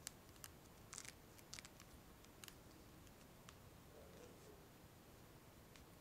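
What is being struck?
Plastic phone case filled with liquid glitter.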